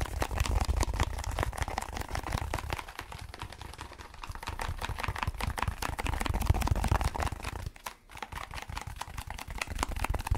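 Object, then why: Foam block. A solid, dark speckled foam block held over a microphone is rapidly scratched and tapped with fingertips. The result is a dense, fast, irregular stream of crackly scratching and soft taps over a heavy low rumble. It eases slightly partway through and dips briefly near the end before resuming.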